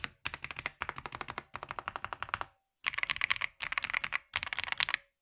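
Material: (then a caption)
Plastic. A black VortexSeries GT65 LITE 65% mechanical keyboard with a plastic case and keycaps, resting on a grey surface, is typed on steadily by two hands using their fingertips. The result is six bursts of dense, bright, crisp key clacks with almost no low end, and each click dies away almost instantly.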